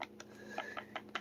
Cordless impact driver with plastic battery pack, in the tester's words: you don't need to shake it that violently to feel it or hear it